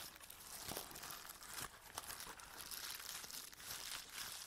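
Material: Plastic.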